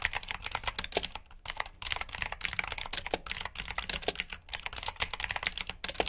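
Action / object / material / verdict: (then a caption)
tap / plastic mechanical keyboard / plastic / none. Fingertips with short nails type on a full-size black plastic mechanical keyboard with RGB backlit keycaps, clicky blue switches and hollow key housings. A rapid run of sharp, bright clicks and clacks with very little low end, broken by brief pauses, each keystroke snapping off almost instantly.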